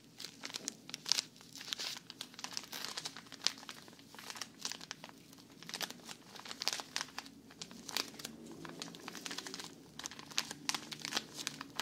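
A small, thin plastic bag full of cotton rounds is held in both hands and squeezed by fingers with long nails. It gives off a steady stream of bright, sharp crinkling and crackling with quick irregular bursts and almost no low end.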